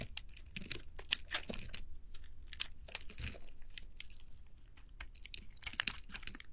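A metal blade cuts and shaves thin curls off a solid pale green bar of soap held in hand, with the shavings piling up on the table. A rapid series of crisp, bright crunching and scraping strokes runs throughout, each dying away almost instantly over a faint low hum.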